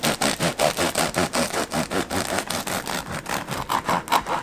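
A serrated knife saws back and forth through the hard golden crust of a solid homemade artisan bread loaf resting on a striped bamboo cutting board, one hand sawing while the other, with long yellow nails, steadies the loaf beside a slice already cut. About nineteen steady, dry, rasping crunches repeat in a quick rhythm, each a bright, gritty scrape, with the blade possibly touching the wooden board.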